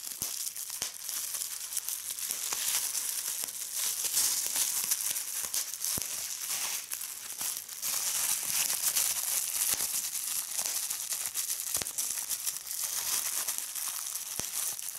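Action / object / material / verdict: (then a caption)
scrape / plastic bubble wrap / plastic / none. Clear plastic bubble wrap is held in both hands while fingers pinch and pop its air bubbles. A steady bright crinkling runs throughout, broken by many sharp, short pops.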